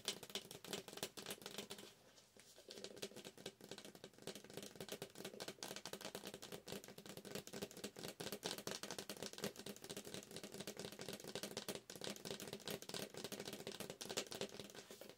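A hollow yellow McCafé paper coffee cup with a plastic lid, held in both hands, is tapped rapidly with long acrylic nails on its paper wall. The result is a dense, dry, rattling patter of short clicks with a hollow tone around 395 Hz and bright clicky highs, easing off briefly near the two-second mark before continuing steadily to the end.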